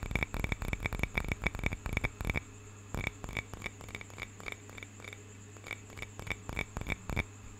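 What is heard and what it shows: Fingertips and nails tap and scratch the surface of a small, hollow carved wooden cup with a painted bird carving, held in both hands. A quick run of dry, short taps fills the first couple of seconds, then after a brief pause, slower and more scattered taps follow with soft scratching between them. A steady low hum sits underneath, and each tap carries a bright, hollow click.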